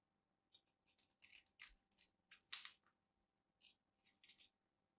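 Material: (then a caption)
Soap. A whole solid white rectangular bar of soap with an embossed grid is held in the hand and scraped and carved along its edge with a small black knife blade, shavings crumbling off. About twelve short, dry, bright scraping strokes come in quick bursts with a quiet gap near the end. Each stroke stops at once with no ring.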